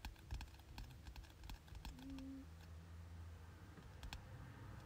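Fingertips tap rapidly on the cover of a glossy softcover paperback textbook lying flat, its solid paper body giving short, soft, dull taps. The taps come in quick clusters, then thin out over a steady low rumble, with a brief faint tone near the middle.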